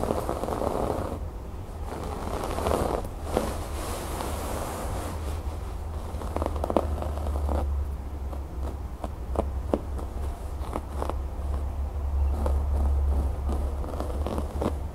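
Fingernails scratch along the raised brown cord embroidery of a cream fabric cushion, seen close up. The result is a steady, dense scratchy rustle with quick crackling ticks and short scrapes over a constant low hum.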